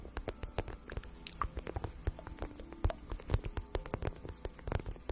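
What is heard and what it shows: A hollow, empty-looking glossy pink vinyl pouch, held in both hands, is tapped and scratched with long nails. Quick, soft, dull taps in an uneven patter blend with light scratching, the sound mostly low and thumpy with little brightness. Each tap dies away almost instantly.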